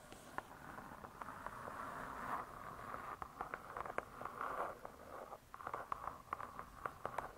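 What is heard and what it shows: Long pointed nails tap and scratch on the hard cardboard cover of a spiral-bound cookbook. Soft, breathy scratching strokes centred around 1 kHz swell and fade, broken up by many quick, dry clicking taps. The taps come faster and sharper toward the end.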